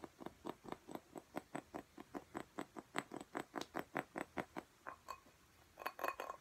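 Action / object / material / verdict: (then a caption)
tap / glass plant pot filled with soil / glass / none. A clear glass cactus pot full of soil is tapped with fingernails on its sides and bottom. About two dozen quick, evenly paced taps give short, dry clinks with a faint ring near 1 kHz. After a brief pause, a faster, denser cluster of taps follows.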